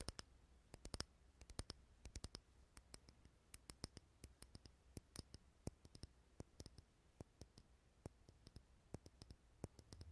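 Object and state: Glass candle jar tapped with fingernails.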